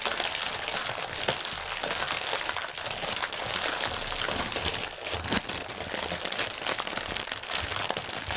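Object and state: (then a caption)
Plastic air pillow packaging. Both hands press, tap and crinkle a long strip of clear, hollow, air-filled Sealed Air plastic air cushion packaging lying on a white table, using fingertips and painted nails. The result is a steady, dense, bright crinkling and crackling with quick, dry snaps and almost no low end.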